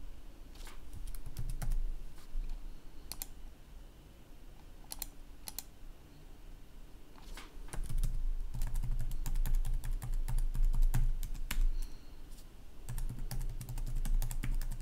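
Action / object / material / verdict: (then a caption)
tap / plastic laptop keyboard / plastic / none. Both hands type quickly with their fingertips on a black plastic laptop keyboard, producing a stream of light, crisp key clicks at an uneven pace. A steady low hum runs underneath, and the typing swells louder in bursts through the second half.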